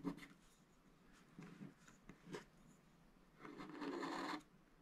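A wooden stylus scrapes the black coating off the top motifs of a scratch-art paper sticker sheet. Several short, dry rasping scratches are followed by one longer, steadier scrape that is brighter and fuller, all quiet and close.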